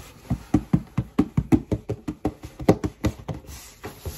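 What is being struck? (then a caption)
Cardboard shoebox. A black cardboard shoebox, held upright and hollow, is rubbed and scratched on its flat side with fingertips and long nails. This makes a steady run of short, dull, hollow thumps that die away almost at once. A soft, high hiss sits underneath.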